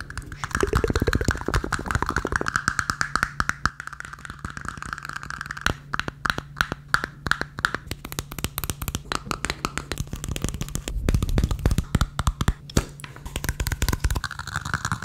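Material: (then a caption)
Plastic. Fingertips and nails tap rapidly on the outside and bottom of a small, hollow, empty red plastic cup the size of a shot cup. The result is a dense stream of short, dry clicks and taps with a hollow tone around 1.4 kHz over soft low thumps, each hit dying away almost instantly.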